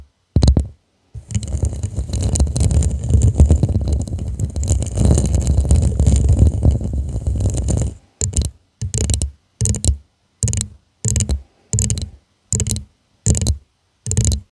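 Long nails tap and scratch on the studded, faceted surface of a hollow purple glass tumbler held upside down. A quick tap leads into about seven seconds of steady, rasping scratching, followed by nine short, separate scratching strokes with brief silences between them. The sound is dense and low with a thin bright edge.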